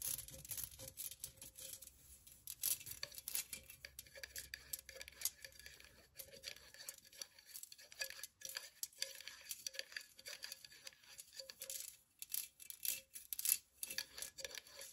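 A hollow, empty pink perforated metal cutout pen holder, held sideways, is tapped and scratched with long nails. Quiet, bright clicks and scratchy rasps come in rapid, uneven bursts, each dying away almost instantly, with a faint mid-pitched metallic ring underneath.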